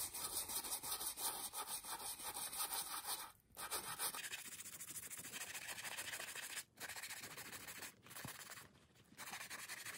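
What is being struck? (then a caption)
Leather ballet flat scrubbed with a bristle brush. A beige leather Chanel ballerina flat with a black toe cap is held hollow in the hand over a towel, lathered with saddle soap, and scrubbed along its side with a small wooden-handled horsehair brush in repeated strokes. The brushing makes a steady, bright, hissy scrubbing sound with almost no low end. It breaks off briefly a few times before resuming at a slightly softer, duller level.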